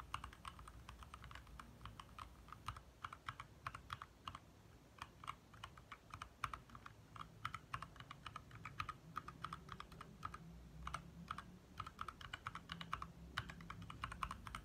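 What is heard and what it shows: Both hands type fast with their fingertips on a compact 60% backlit mechanical keyboard with lit plastic keycaps. Quick, dry clicks and clacks ring out in steady bursts, with a bright tap centered around 1.3 kHz over a soft low rumble. Each keystroke dies away almost instantly.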